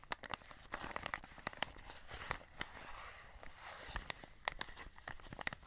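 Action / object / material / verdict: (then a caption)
scrape / cardboard box with clear plastic window / cardboard, plastic / none. Fingertips scratch and crinkle the clear plastic window and cardboard edge of a full cardboard chocolate box held close. Soft rustling crinkle runs throughout, broken by many sharp, bright ticks and crackles that stop at once with no ring.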